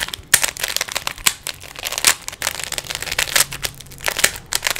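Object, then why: Plastic 3x3 puzzle cube. Fingers quickly twist the layers of a small, solid plastic 3x3 Rubik's cube. The result is a rapid, uneven run of sharp, bright plastic clicks and clacks with almost no low end and no ring after each snap.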